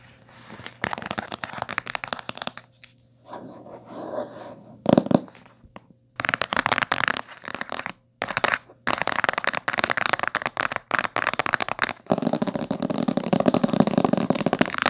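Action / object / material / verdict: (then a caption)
scrape / hardcover book with coated board cover / coated board / none. Long nails scratch the spine and tap the coated board cover of a thick, solid blue-green hardcover book, which is briefly tilted and then lies on a table. The result is fast, dense bursts of dry, crackly scratching and tapping with short pauses between them. The sound is bright and papery, with little low end and no ring.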